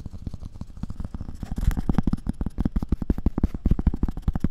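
A round, thin, solid cork coaster is held beside the ear of a binaural dummy-head microphone and tapped and scratched with long red-painted nails. The result is a rapid, uneven run of short, dull, muffled thuds, mostly low and without brightness, with soft scratching between the taps.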